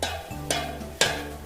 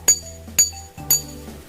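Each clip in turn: First: tin can tapped (dull tok sound). Second: glass (bright ting when tapped).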